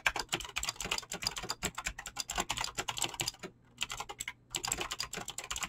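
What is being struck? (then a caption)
Mechanical keyboard with clicky switches and PBT plastic keycaps. Fingertips type fast on a mechanical keyboard with clicky green switches and PBT plastic keycaps, producing a dense stream of sharp, bright clicks with almost no ring. The typing pauses briefly twice, around 3.5 and 4.3 seconds, then resumes at the same quick pace.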